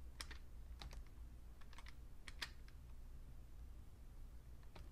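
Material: Plastic.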